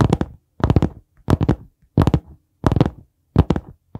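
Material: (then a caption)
Cardboard. Fingertips tap and knock on the board cover and spine of a dark brown hardcover notebook held at an angle close to the mic. Quick clusters of soft, dull thumps come roughly every half second or so, each dying away almost at once. The tone is low and hollow, with little brightness.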